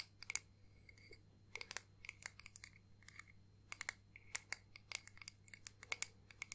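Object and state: Acrylic ornament tapped and scratched with nails.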